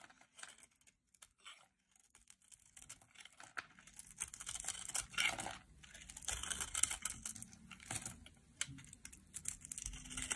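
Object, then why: Soap bar shaved with a blade. A solid red and pink striped dry soap bar, held in the hand, is shaved with a metal utility knife blade, sending curls flying off. Quiet, bright scraping and crackly tearing strokes come in quick, irregular bursts, starting sparse and growing denser and louder through the middle before easing slightly toward the end.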